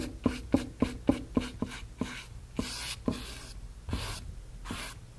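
A flat synthetic brush loaded with wet medium is brushed back and forth over a small, white, blank stretched cotton canvas, fabric over a hollow frame. It starts with quick, evenly spaced soft taps carrying a dull low-mid hollow knock, then slows into longer, breathy rubbing swishes with a bright hiss. About ten distinct strokes are heard in all.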